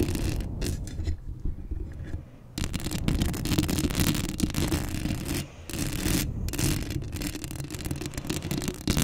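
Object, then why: Metal wire-mesh microphone grille. Long acrylic nails with rhinestones scratch the hollow metal wire-mesh grille head of a black Blue Yeti USB microphone up close. The result is a steady, dense, rumbling scrape with bright, crackly bursts on top. It pauses briefly twice before resuming.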